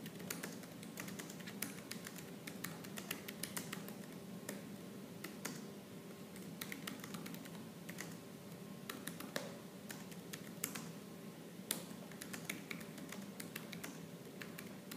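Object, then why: Plastic laptop keyboard. Fast, aggressive typing with fingertips and purple nails on a silver laptop's black plastic keyboard. A dense, continuous stream of short, sharp plastic clicks and taps runs the whole clip, with occasional brighter, louder key strikes above a steady low hum. The overall level stays fairly quiet.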